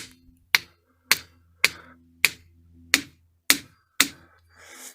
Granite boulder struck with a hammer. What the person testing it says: that's a regular rock you can hear how dense it is